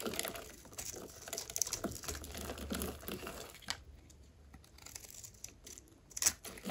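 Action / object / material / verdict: scrape / bar of soap scraped by a metal blade / soap / none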